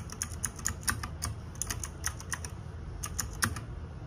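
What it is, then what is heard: Plastic mechanical keyboard. Fingertips and nails type rapidly on a small RGB-backlit 60% mechanical keyboard with plastic keycaps, producing quick, bright, clacky keystrokes in an uneven rhythm. Each click is short and dry, over a soft low rumble underneath.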